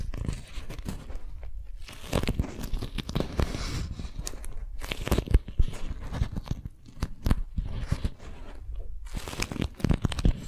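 A strawberry-print, beeswax-coated cotton food wrap is folded in the hands while long nails grip and crinkle it. The result is a continuous stream of stiff, crunchy crinkling and crackling with sharp, dry snaps that stop quickly. The sound is mostly heavy low rustle, with bright bursts at the louder crumples.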